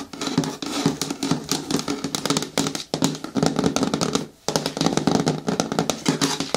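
Long nails tap and patter rapidly across the sides and front of a hollow, hard green plastic bin with a lid. The result is a dense stream of quick, dry clicks with a hollow resonance around 270 Hz and bright edges, broken by a brief pause just after the four-second mark.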